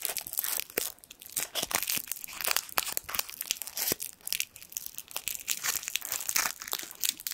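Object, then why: Small foil sweet wrapper. A small gold foil sweet wrapper is crinkled between the fingertips, giving a dense run of sharp, bright crackles and snaps with almost no low end. The crinkling continues steadily throughout, each crackle dying away instantly.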